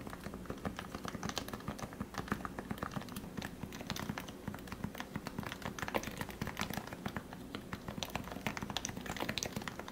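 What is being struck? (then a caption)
Plastic Topre-switch keyboard. Fingertips press and tap the plastic keycaps of a lubricated Leopold FC660C Topre electro-capacitive keyboard with 45 g switches, recorded close up. The result is a steady, rapid stream of soft, muted, thocky keystrokes with a low, rounded body and brief bright clicks on top. Each stroke dies away almost instantly.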